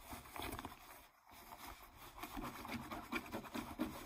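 Long nails scratch across a pair of distressed, ripped blue denim jeans lying flat, making soft, rough, irregular scraping and rubbing strokes through the fabric. The strokes come in uneven bursts with a brief quiet pause near the one-second mark.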